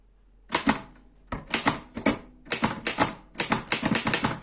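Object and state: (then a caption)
Metal portable typewriter being typed on. Fast fingertip typing on the keys of a black metal Erika 5 portable typewriter. Sharp, bright clacks come in quick bursts with short pauses between them. Each strike dies away almost at once, with little low-end weight.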